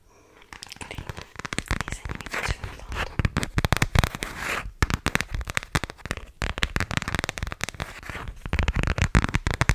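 Long fingernails tap and scratch an empty, thin black plastic iPhone X case with space-themed planet prints. The result is a rapid, continuous stream of sharp, dry clicks and crackly scraping with almost no ring, starting after a brief quiet moment.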